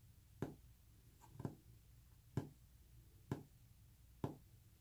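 Fingernails tap on a wooden surface five times at a slow, uneven pace, each tap a short, dry click with a quick decay. A low, steady rumble sits underneath the taps throughout.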